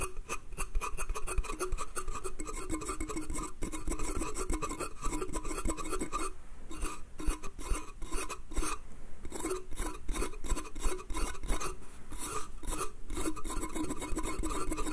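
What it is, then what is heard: Wooden slatted crate being scratched. Fingernails scratch and rub the slats of a small, hollow, pine slatted bath crate in a steady stream of quick, raspy strokes. The scraping has a dry, hollow wooden body and a faint bright edge, and each stroke dies away almost at once.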